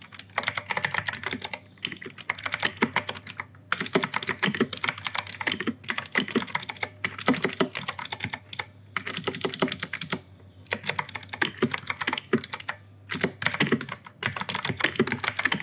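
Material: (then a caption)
Plastic. Fingertips type on the plastic keycaps of an E-Yooso K-620 mechanical keyboard with RGB backlight and clicky Outemu Blue switches. Rapid bursts of sharp, bright clicks with a high metallic tick sit over a faint low hum, broken by short pauses between typing runs.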